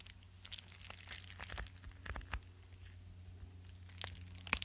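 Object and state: Padded paper mailer being scratched.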